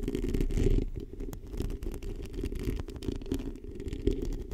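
Long painted acrylic nails of both hands scratch a small, hollow, black foam or mesh-covered microphone windscreen. The result is a dense, muffled, low rumbling scratch with almost no bright content and a steady texture of quick rustles. It is loudest in the first second, then settles to a softer, continuous scratching.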